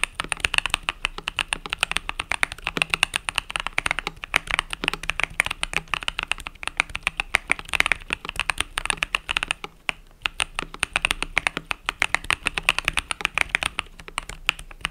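Fingertips type rapidly on the plastic pastel purple-yellow keycaps of a compact mechanical keyboard, making a dense stream of short, crisp clicks. The clatter is bright and high with almost no low end, and it keeps up a steady rhythm with a brief lull near the ten-second mark.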